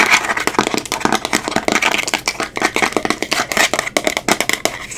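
Long acrylic nails rapidly tap and scratch the black plastic lid and sides of a small, round amber glass cosmetic jar. Dense, bright clicks and raspy scrapes run nonstop with almost no low end, each tap dying away almost instantly.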